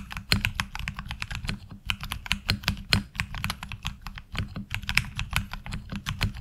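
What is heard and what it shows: Both hands type with fingertips on a HyperX Alloy Origins Core tenkeyless mechanical keyboard with ABS keycaps, giving a fast, steady run of sharp clicky keystrokes. Each key press is a brief, bright tap with a low thock underneath and almost no ring.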